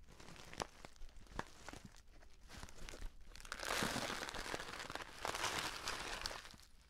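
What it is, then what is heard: Paper tea pouch being crinkled. Fingertips and nails squeeze and rub the surface of a filled, orange-printed stand-up paper tea pouch. Sparse sharp crackles give way to dense, bright crinkling that swells loudest in two bursts before fading.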